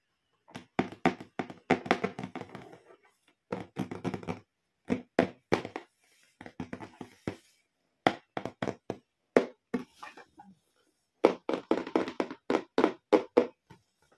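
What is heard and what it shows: A closed, medium pink printed Hello Kitty cardboard gift box with ribbon handles lies flat, holding school supplies, while both hands tap and knock on its lid with fingertips and short nails. Quick, dry, hollow taps in the mid range come in rapid bursts separated by short pauses, each hit dying away almost instantly.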